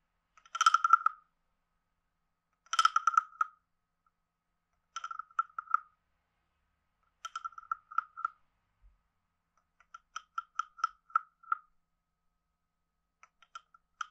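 A wooden stick is scraped along the ridged back of a palm-sized, hollow, carved reddish-brown wooden frog guiro held in the hand. It makes six short bursts of quick, dry, croaking clicks with a hollow midrange tone and a bright edge, separated by pauses. The later bursts are softer and more spaced out, with no ring after each scrape.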